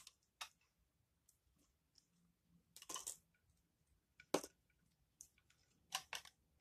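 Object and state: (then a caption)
Bar of laundry soap being cut. A dry, solid bar of Aist laundry soap held in the hand is scraped and cut with a utility knife blade, shaving off crunchy flakes. Short, crisp crunching scrapes with bright, high texture come in bursts separated by quiet gaps. At the end, a large slab breaks off the bar.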